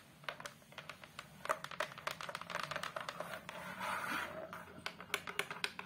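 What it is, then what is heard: Hardboard photo frame backing. Long acrylic nails tap and scratch across the back panel of a large photo frame, a flat brown fiberboard/hardboard sheet lying face down. Quick, irregular, dry clicking taps with almost no ring are broken up by a longer rasping scrape midway through.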